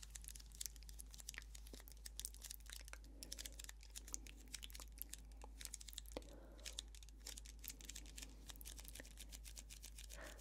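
Long manicured nails tap and scratch the sides of a small, clear, thin-walled plastic cup filled with pomegranate arils, held in both hands. The result is a quiet, continuous stream of quick, bright clicks and crinkly scratching over a steady low hum, with brief softer rustles in between.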